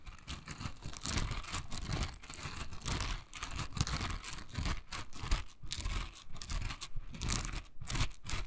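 Long nails scratch and flick the dense, soft bristles of a hand-sized pink silicone scrubber held in the hand. The result is a steady stream of crunchy, crinkling scratches with bright, hissy bursts over a low rumble, swelling and fading in uneven waves throughout.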